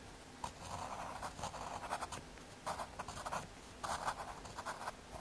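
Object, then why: Pencil on thin fiberboard. A graphite pencil scratches short strokes across the surface of a small, thin square of solid brown MDF fiberboard. The strokes come as soft, dry scratchy bursts in quick clusters, grainy in the midrange with a faint bright hiss, separated by brief quiet pauses.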